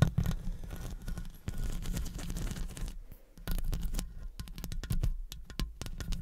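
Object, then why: Metal mesh microphone grille. Long acrylic nail tips tap and scratch the top and sides of the hollow metal mesh head of a studio condenser microphone. The first half is a continuous scratchy rustle over a deep, boomy low-end rumble. After a brief lull, it turns into a rapid run of short, thumpy taps that die away almost instantly.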